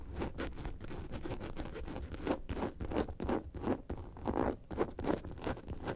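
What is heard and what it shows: Long nails scratch the top of a yellow and white faux leather bag lying on a table. The result is a steady run of quick, irregular, soft scratching strokes with a dry, papery texture and a muffled low body.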